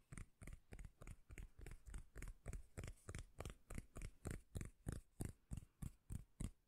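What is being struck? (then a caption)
Round cork lid. Long nails tap and scratch across the face of a round, flat, solid, palm-sized cork lid held up in both hands. About 25 soft, deep, thudding taps repeat at a steady pace with a light scratchy texture on top. Each tap dies away almost at once.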